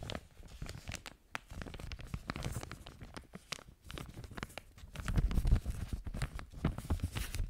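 An empty clear plastic zipper storage bag with a red zip strip is held in both hands close to a microphone and crinkled and rubbed between long-nailed fingers. The result is a dense, irregular stream of crinkling, crackling and tearing-like rustles over low handling rumble, growing louder in the second half.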